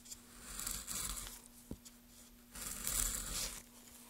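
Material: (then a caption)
Wood. A gloved hand works a small gouge through the grooved surface of a solid pale wood block, carving and scraping. Two bright, hissing scraping passes rise and fade, separated by a quieter stretch with a brief sharp tick, over a faint steady low hum.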